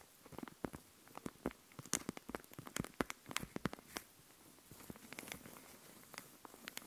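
A sheet of raised puffy plastic stickers, held in both hands, is tapped and scratched with long nails. It gives quick, dry, crackly clicks in an uneven rhythm, each ending almost instantly, with bright edges. A softer scratchy rustle comes through in between, mostly around the fifth second.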